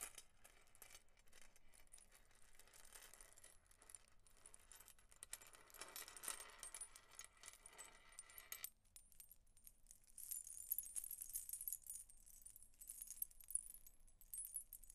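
A multi-strand silver-tone metal chain necklace hung with many solid, flat coin-like metal charms is held up and shaken by a hand with long nails over a marble table. The charms jangle and clink against each other in a soft, continuous rustle for most of the clip. After a brief lull, brighter, high metallic tinkles take over near the end.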